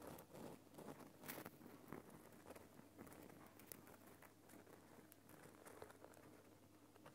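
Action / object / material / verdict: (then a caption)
scrape / large lump of rock salt / rock salt / none. Fingers scratch and tap the rough surface of a large, solid lump of glowing pink Himalayan rock salt in a salt lamp. The result is quiet, dense, crackly scratching with irregular soft taps that give short, dry clicks with brief bright edges.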